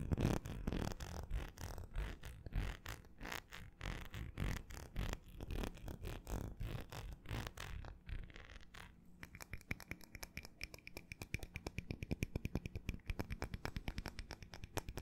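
Fingernails scratch along the vertical ridges of a small, empty, hollow ribbed cut-glass tumbler. For the first eight seconds the rasping strokes are dense and bass-heavy. After that they turn into quieter, rapid, fine ticking clicks with a faint bright, high ring over them.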